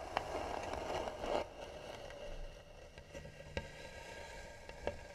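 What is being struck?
Carved wooden box.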